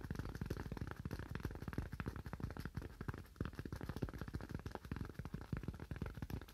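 A solid, hand-sized white styrofoam slab held in both hands is tapped quickly with fingernails. The result is a dense, steady run of short, dull, hollow-sounding clicks that are heavy in the low end and die away almost instantly.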